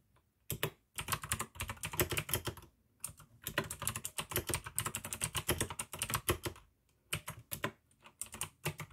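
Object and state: Plastic mechanical keyboard.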